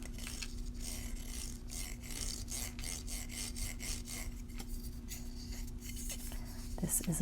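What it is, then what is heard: 3D-printed plastic door stop. A 3D-printed plastic door stop is scraped and rubbed, producing a steady series of dry rasping strokes. A faint low hum runs underneath, and a few brighter scratches come near the end.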